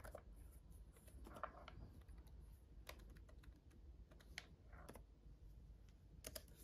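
Fingertips of both hands tap on the red-backlit plastic keys of a black gaming laptop keyboard, giving a quiet, irregular run of short, bright clicks. Each tap dies away almost at once over a steady low background rumble.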